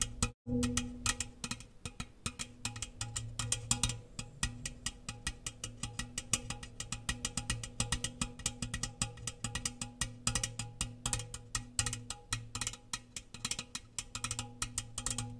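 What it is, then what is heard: Metal biscuit tin. Fast fingertip and nail tapping on the outside of an open, empty, medium-sized round metal gingersnap biscuit tin, held hollow and close to the microphone and moved around it. Dense runs of short, bright clicking taps ring over a hollow, resonant low tone. After a brief silence near the start, the tapping continues almost without pause.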